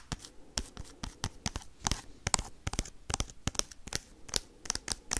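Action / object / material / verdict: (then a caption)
scrape / sealed foil card pack / foil / none. Paperclips worn on the fingertips scratch and tap the crinkly wrapper of a small, sealed foil Pokemon card booster pack. A fast, irregular run of sharp, bright clicks and scrapes crackles over a soft crinkly rustle, each hit dying away almost instantly.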